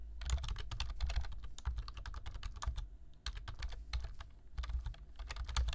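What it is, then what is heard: Plastic computer keyboard being typed on. Fingertips type on a black plastic computer keyboard, tapping out a fast run of short, crisp key clicks over a deep, steady low thump. The typing pauses briefly around the middle before resuming in bursts, each keystroke dying away almost at once.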